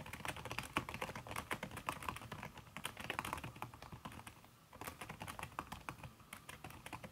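Fast typing with fingertips and long red nails on a backlit aluminium laptop keyboard fitted with a red silicone key cover. A dense, steady stream of soft, damped taps with bright clicky edges fills the clip, dipping briefly in level around the middle before the rapid tapping resumes.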